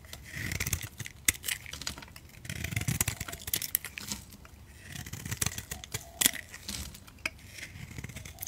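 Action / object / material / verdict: scrape / bar of soap / soap / none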